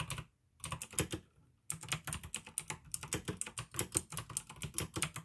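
Fingertips type on a pink AUKEY plastic mechanical gaming keyboard with blue switches, making sharp, bright clicky keystrokes with a low thock beneath. A few keystrokes come first, then short pauses, then a steady run of fast, evenly spaced clicks until the end.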